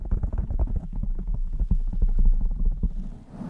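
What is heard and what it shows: Long nails scratch and stroke the surface of a blue foam microphone windscreen while one hand holds its side. The result is a dense run of muffled, low, thumping scratches and rumbles, with almost no high content, that swell and fade irregularly before softening at the end.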